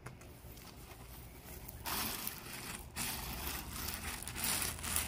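Gloved hands push and spread small tan river-rock gravel, loose landscape rock, in a paver-edged bed. A soft, quiet scraping gives way after about two seconds to louder, bright crunching and grinding of the pebbles, with a brief lull near three seconds before the crunching picks up again.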